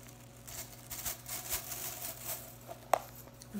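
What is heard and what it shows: Fingers and nails quickly flick and rake through blue synthetic plastic broom bristles held in the hands. Soft, bright brushing rustles swell and fade over a faint steady hum. One sharp click stands out near the end.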